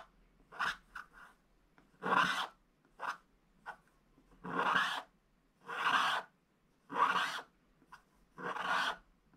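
A wooden stylus held low scratches the outline of a sack into a flat, black, wax-coated scratch-art paper page. The result is a series of dry, raspy scratching strokes, some short and quick and others longer and sustained, separated by brief quiet pauses. The rasp is bright and papery, centered in the mid-range with airy high-end hiss.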